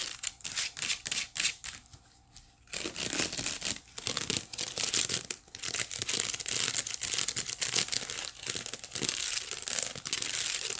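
Long nails scratch the woven side of a hollow, empty white wicker basket held horizontally. The result is a dense, bright, crinkly scratching made of rapid dry bursts, with a brief quieter pause near the two-second mark before the scratching resumes steadily.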